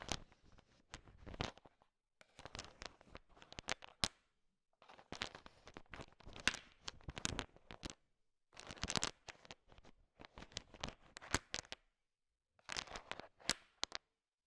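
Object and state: Bowl of candy-coated peanut chocolates being stirred.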